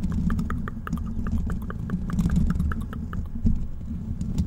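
Fingertips scratch the hollow black metal mesh grille of a large desktop microphone. A dense, steady low rumble carries quick, crisp scratchy ticks that flicker up into the highs.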